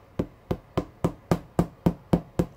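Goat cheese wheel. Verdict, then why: Mature. A two-year-aged, 8.3 kg wheel of Darsan goat cheese made from whole goat milk, with a natural rind under a clear latex coating, is tapped ten times at a steady pace. Each tap gives a short, dull, drum-like thud centred low, with almost no bright content and a very quick decay. The dull sound marks a well-matured cheese with a soft, elastic structure.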